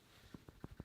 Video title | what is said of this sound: Trying the CHEAPEST Makeup from Sephora (Nothing Over $15!!) | I was like shaking it and it sounds solid inside.